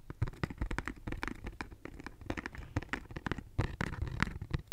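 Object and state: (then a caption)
Cardboard tissue box. A hollow pink cardboard tissue box, held in both hands, is scratched and tapped with long nails. Quick, dry taps and scratchy strokes come in a busy, uneven stream, each with a low, hollow knock and a lighter papery edge. No ringing follows.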